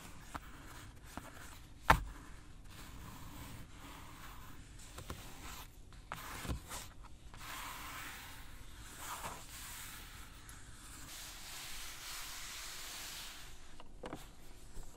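Long nails and fingertips tap, scratch and rub the padded black leather center-console armrest of a Mercedes-Benz S-Class Maybach, its surface soft and cushioned. Quiet, dry scratching and rubbing hiss runs throughout, broken by a sharp tap near the start and a few softer taps later.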